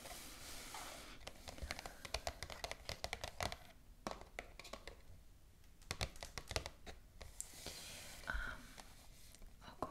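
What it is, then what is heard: Paper gift shopping bag. Long acrylic nail tips rapidly tap a white glossy paper shopping bag with black ribbon handles, lying flat on a table. Crisp, short clicks and papery crinkles come in quick, uneven bursts, with bright, dry transients that die away almost instantly.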